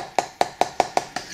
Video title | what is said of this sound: Replicade Unboxing and show & play Missile Command @avtransfersUK | sounds like a hollow tin here